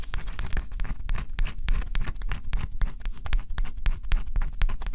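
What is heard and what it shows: A small stylus scratches the black coating off a flat, thin cardboard scratch-off jigsaw puzzle, close up. Quick, irregular scraping strokes run continuously, each a short, dry rasp with a dull low thump and a brief bright edge that stops almost at once.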